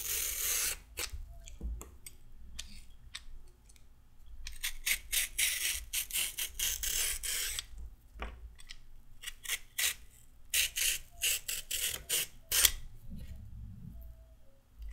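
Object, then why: Raw carrot scraped with a metal peeler. A solid raw carrot, held in the hands, is peeled with quick scraping strokes of a metal-blade peeler with a pink handle. Bright, dry rasping scrapes come in rapid bursts and short runs, with brief pauses between them.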